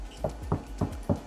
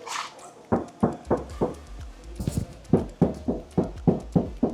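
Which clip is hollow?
The second.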